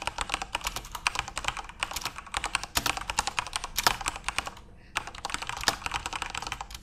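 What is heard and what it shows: Fingertips type on a full-size, RGB-backlit Corsair mechanical keyboard with plastic keycaps. A rapid run of bright, sharp keystroke clicks stops briefly near the five-second mark, then resumes.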